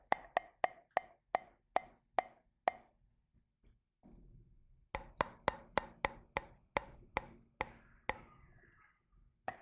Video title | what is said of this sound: ASMR Tapping : Que Ressens-Tu ? | en tapping, avec le changement de son en fonction de l'eau